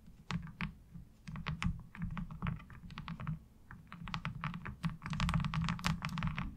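Long acrylic nails tap and scratch across a light blue molded plastic laundry washboard with a diamond-textured surface, thin and hollow-backed, lying on fabric. Quick, irregular clicky taps and brief bright scrapes sit over a steady low, hollow rumble, with each tap dying away almost instantly.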